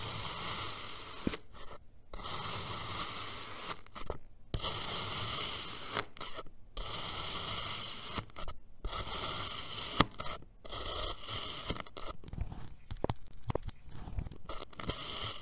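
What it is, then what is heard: Kinetic sand cut with a knife. A steel knife cuts diagonally through a sliced purple kinetic sand mound, making soft, grainy scraping strokes broken by brief silent pauses. Crumbles of sand fall off with light rustling and occasional faint taps.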